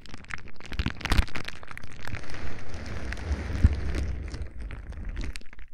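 Fingertips squeeze a sheet of clear plastic bubble wrap held close to the microphone, popping its bubbles one after another. Sharp, short pops and soft crinkling plastic rustle sit over a heavy, low, boomy thump from the close handling.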